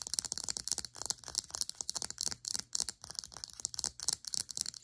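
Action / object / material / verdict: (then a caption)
tap / small plastic serum bottle / plastic / none. Long acrylic nails rapidly tap and scratch the sides and cap of a small cylindrical plastic serum bottle held upright. The result is a dense stream of dry, bright clicks and scratchy rasps with almost no low end and no ring after each tap.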